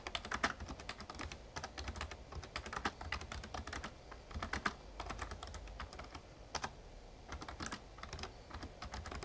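Fingertips type steadily on a full-size backlit plastic Razer Ornata Chroma mecha-membrane gaming keyboard. Quick, soft clacky keystrokes come in uneven bursts, each with a short bright click over a low thud, with brief pauses between runs.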